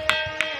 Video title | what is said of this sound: ll Thinthini Pathar ll Ambikapur (Darima) | यहाँ पे भी मतलब स्टील का आवाज आ रहा है इसमें पूरा